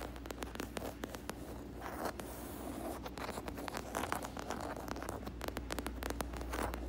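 Long acrylic nails scratch and tap in quick, fast strokes across a large flat black leather (possibly faux leather) panel with double-stitched seams and a solid backing. Dense, crisp ticks and dry scratchy scrapes flicker through the clip at a soft level over a steady low hum.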